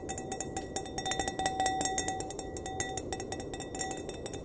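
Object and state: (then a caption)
Empty wine glass. Fingernails tap rapidly and unevenly on the bowl of an empty, hollow, clear glass wine glass, first held upside down by its base and then upright by its stem. Each light click rings out as a clear, bell-like tone around 760 Hz with bright, shimmering overtones that briefly linger. Soft background noise runs throughout.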